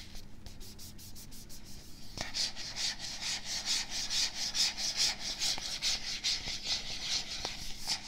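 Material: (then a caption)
Plastic. A medium, hollow plastic supplement tub with a black lid and a "Hydraulic" label is turned in the hands close to the microphone while fingertips rub and scratch the label surface. It makes a steady, rhythmic series of bright, hissy scratching strokes that grow louder after the first two seconds, with a few faint low knocks as the tub is handled.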